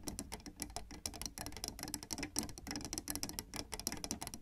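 Long red nails and fingertips of both hands tap rapidly on solid black and white plastic piano keyboard keys. The result is a dense, quick patter of bright, dry clicks with soft low thumps beneath, each tap dying away almost at once.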